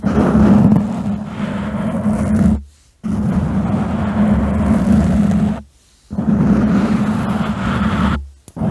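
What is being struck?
Foam microphone windscreen.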